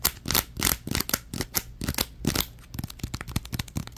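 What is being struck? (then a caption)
Plastic bag. A crumpled orange plastic bag is crinkled and squeezed in the hands, giving bright, crackling bursts of rustle that sweep up into the high range over a faint low rumble. The first half brings longer, fuller crunches, and the second half breaks into a quick run of short, sharp crackles.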